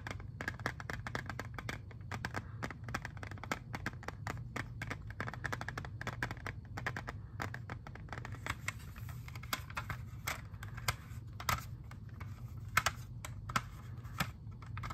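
Fingernails tap rapidly on a clear, hollow, hand-sized plastic CD jewel case holding a disc, making a dense run of light, dry clicks with almost no ring. A steady low hum sits underneath throughout, and from about halfway on the taps become sparser, sharper and brighter.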